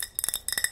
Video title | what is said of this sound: ASMR * Nail Care Routine * Tapping & Scratching * Fast Tapping * Soft Spoken * ASMRVilla | so this is the Mason jar that I use